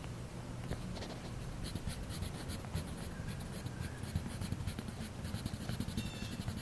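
A man colors steadily in one area of an open paper coloring book lying flat on a metal mesh picnic table, scratching and rubbing the tip of a colored pencil, held in his fingers, across the page. The result is a continuous, soft, dry scratching with bright, brushy streaks over a steady low rumble, and occasional slightly louder strokes.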